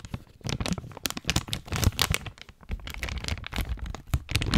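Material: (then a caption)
Plastic. A medium clear plastic zip bag with a coiled dark item inside is held in both hands close to the mic and squeezed and crinkled with the fingertips. Dense, uneven crinkling and crackling comes in quick bursts, with bright snaps over a soft, heavy low rumble from the handling. Short pauses break up the bursts, and the sound swells loudest near the end.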